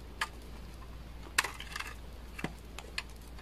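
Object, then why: Laundry soap bar scraped with a knife blade. A utility knife blade scrapes chunky flakes off the edge of a solid beige bar of dry laundry soap held in the hand. Seven short, dry, crisp scrapes and snaps sound at irregular intervals, bright and quickly fading over a quiet, steady low hum.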